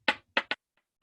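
A hand-held rock is knocked to make noise with it, giving three sharp, bright knocks with quick decays, the first two slightly longer and the third following close behind. Two much fainter taps follow in the quiet that remains.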